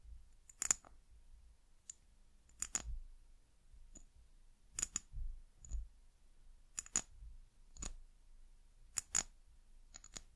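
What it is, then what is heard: Amber glass bottle. A small brown amber glass bottle with embossed glass and a white cap is held sideways and tapped with long nails. The taps come as sharp, bright clicks, often in quick pairs, spread across the clip with quiet gaps between them. Each click is very short and high-pitched, with almost no ring, over a faint low rumble.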